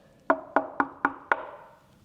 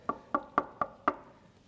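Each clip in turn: First: Five knuckle taps on an MDF speaker cabinet, each with a woody tone and a short lingering ring. Second: Five quick knuckle taps give short, dry mid-pitched knocks that die almost at once: a well-damped walnut cabinet.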